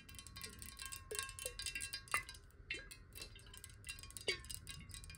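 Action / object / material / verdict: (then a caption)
tap / glass water bottle / glass / none. A clear, square, hollow glass water bottle, partly filled with water and held sideways, is tapped rapidly with long nails. The result is a dense stream of quick, bright clicks and short glassy pings centered around 2 kHz, with a faint steady ring near 1 kHz underneath.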